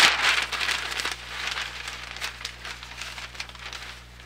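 A large, thin newsprint grocery ad circular with a green organic banner is held in both hands, then opened, folded and crinkled with fingertips and nails. The result is a bright, crackly rustle of irregular paper crinkles, loudest at the start and gradually fading.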